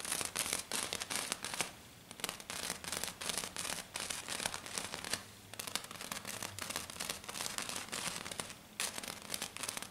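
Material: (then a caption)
Glitter. Both hands with black-painted nails make fast, dense taps and scratches across a flat, silver glitter-covered sheet. A rapid, crackly stream of bright clicks and scraping rasps comes in bursts with brief, quieter pauses between them.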